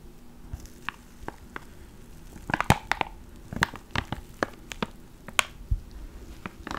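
A small clear plastic ziploc bag holding a black foam mic cover is crinkled and pinched with the fingertips of both hands. Sharp, dry crackles and brief bright snaps come in scattered bursts over a soft, low rustling background, each crack dying away almost instantly.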